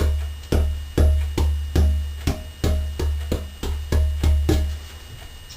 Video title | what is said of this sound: Steve's Guitar Making Part 3 - Soundboard 2 of 6 | sounds like a piece of wood be hit by a finger